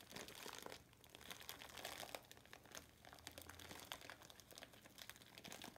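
A hand-sized, light, porous rectangular natural loofah sponge, sealed in clear plastic wrap with a paper label, is held wet over a soapy sink. Hands with long metallic-painted nails squeeze and scratch it, making a dense run of bright crinkling and crunching from the plastic. Faint wet sounds may come from the water below.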